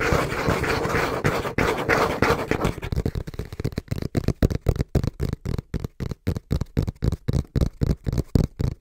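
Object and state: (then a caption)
Cardboard box. Fingertips lightly scratch and tap the front panel of a small, brown, hollow cardboard box held in both hands. The first few seconds are a dense, continuous scratching rustle, which gives way to fast, rhythmic taps at roughly four per second. Each tap is a dull, low, hollow thud that dies away almost instantly.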